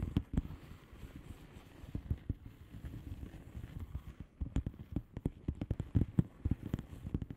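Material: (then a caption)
Plastic. Long fingernails of both hands tap and scratch a flat blue plastic bubble wrap padded envelope with air-filled bubbles. The result is a quiet, steady run of soft, dull, low taps with brief scratchy rustling between them; each tap dies away almost at once. The tapping grows denser and a little louder in the second half.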